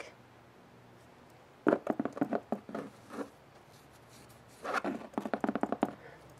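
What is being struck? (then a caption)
Fabric storage bin. Fingertips and nails tap and scratch the side and handle of a collapsible, hollow, partly filled mint-and-white striped fabric storage cube. Two clusters of quick, dull, muffled taps and scrapes sit in the low-mid range and die away almost at once, separated by near-silent pauses.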